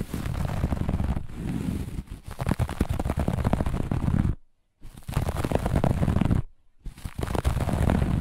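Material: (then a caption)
Carpet fibre. Long nails on both hands scratch quickly across the pile of a flat, looped grey-beige carpet, making dense, rapid, crackling scrapes with a heavy low rumble. The scratching runs in three bursts separated by two brief silent pauses.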